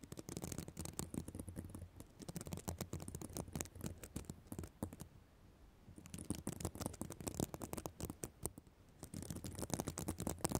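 Long black nails scratch back and forth across a reversible plastic sequin fabric notebook cover, making a dense run of quick, dry, rattling clicks with a low rumbling body. The scratching softens to a near-silent pause in the middle, then picks up again, brisk and crackly, to the end.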